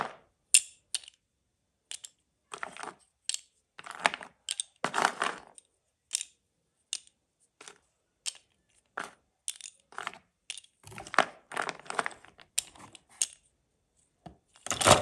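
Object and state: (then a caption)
Handful of slate pencils. A handful of about a dozen thin, solid, pale grey-white slate pencil sticks (soft slate/clay) is held in an open palm over a cardboard box and shifted and shaken. The sticks clink and rub against each other in quick, dry, bright clicks and scraping bursts that stop short with no ring. Quiet gaps separate the irregular clusters.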